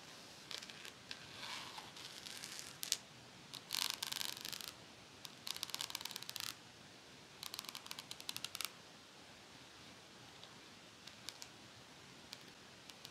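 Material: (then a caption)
Metal. A pet comb with fine metal teeth and a teal and black plastic handle is held upright while long nails scratch along its teeth and edge. Quiet, bright scratching comes in bursts of rapid, dry clicking and rasping ticks, with short pauses between the bursts.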